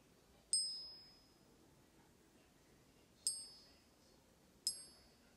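A Canadian Maple Leaf gold coin is gently tapped on a surface for a ping test, giving three clear, high, bright rings, each decaying slowly with steady overtones. The coin had already passed a neodymium magnet test, and the ringing ping marks it as authentic gold.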